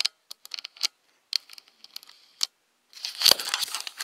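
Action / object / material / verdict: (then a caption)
tap / plastic camera body / plastic / none. Long nails tap around the lens and hollow plastic body of a black Nikon DSLR camera held close, making a series of sharp, bright, separate clicks with a light high ring. Near the end, they switch to a louder, continuous scratching burst across the body.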